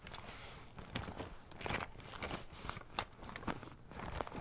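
Fingertips tap and scratch along the coated fabric of a cylindrical blue fabric zippered pencil case held close to the microphone. The result is a string of soft, dry, crackly taps and rustling scrapes with a low muffled body and no ringing.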